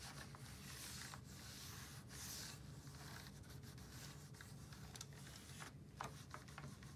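A full-size black plastic keyboard on a desk is wiped across its keys with a disinfectant wipe held in purple-gloved fingers, while the other hand rests on a plastic desk mat. A soft, continuous rubbing swish with bright hiss sits over a steady low hum, broken by faint light clicks as the wipe passes over the keys.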